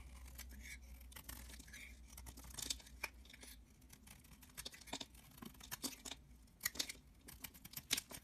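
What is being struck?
Soap bar shaved with a blade.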